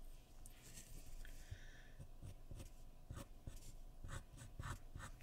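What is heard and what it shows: A graphite pencil makes sketching strokes across a sheet of white drawing paper resting on a wooden surface. Quiet, dry scratching comes in short, bright strokes over a soft low rumble, with the strokes growing sharper and more distinct toward the end.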